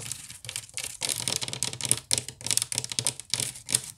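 Long nails scratch quickly across the woven strands of a wicker basket, seen close up from the side. The result is a dense, bright, crackling rasp in rapid bursts, with very little low end and almost no ring after each stroke.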